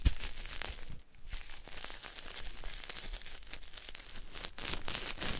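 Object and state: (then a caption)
Bar of soap rubbed with a cloth. A wet, solid pink bar of soap is rubbed with a white cloth by fingertips, giving a steady run of soft, crinkly, scratchy friction. The rubbing is dense and continuous, with brief rough bursts and a short dip near the first second.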